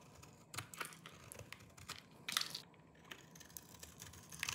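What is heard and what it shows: A small knife with a yellow-tan blade shaves and scrapes the surface of a hand-sized solid bar of dry green soap held in one hand, sending crumbly flakes falling off. The result is a quiet run of dry, bright, crunchy scraping bursts with short, crackly ticks that stop almost at once.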